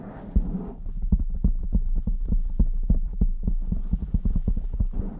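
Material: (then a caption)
Foam. Both hands cup a blue foam windscreen on a black microphone, rapidly tapping and rubbing it with fingertips and long nails. A fast, steady run of deep, muffled, boomy thumps comes through, almost entirely low-pitched like a throbbing heartbeat. Softer scratchy rubbing noise sits at the start and end.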